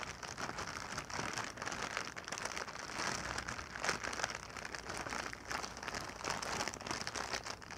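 A clear, inflated plastic air-cushion packing pillow, hollow and air-filled, is held and pressed flat on a blanket while long painted nails scratch and tap across it. The result is a steady, dense crinkling and crackling with quick, bright clicks and a soft, hissy rustle throughout.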